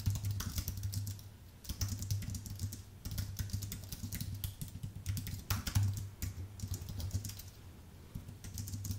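Fingertips type on a white, full-size Apple Magic Keyboard with plastic keycaps on an aluminium base. Quick bright clicks and taps come in bursts with short pauses between them. A steady low hum runs underneath throughout.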